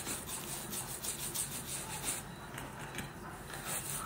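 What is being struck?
Leather boot scrubbed with a bristle brush.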